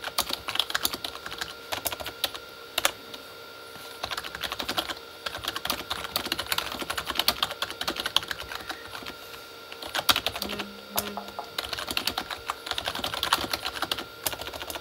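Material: Plastic.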